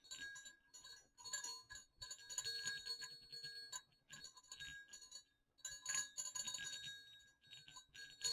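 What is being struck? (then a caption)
Pair of small metal jingle bells on a cord. Two small hollow silver metal jingle bells on a string are jiggled and shaken over dark fabric. They make bright, high jingling in several bursts, with quick clicks and short dings that fade fast between shakes.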